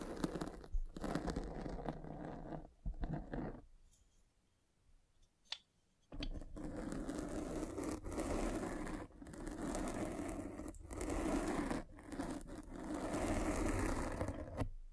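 A metal-spiked derma roller is rolled over the foam top of a black foam microphone windscreen, producing dense crunching and scratching strokes separated by brief dips. The rolling runs for about three and a half seconds, falls quiet for roughly two seconds apart from a single faint click, then resumes steadily to the end.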